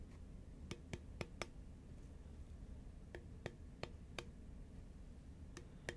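Long nails tap and click on a hollow, green Pringles composite cardboard tube, held at an angle and then upright. Ten short, sharp, bright clicks sound in two loose clusters, each with a faint hollow tone around 350 Hz. Each click dies away almost instantly over a steady low background rumble.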